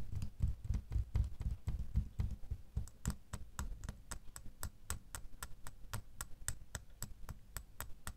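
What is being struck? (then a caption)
Small metal key tapped with fingernails. A small solid metal metal door key lying in an open palm is tapped with several fingernails. Quick, light clicking taps with bright, sharp ticks over soft low thumps come about four per second, loose and irregular at first, then settling into a steadier rhythm. Each tap dies away almost instantly.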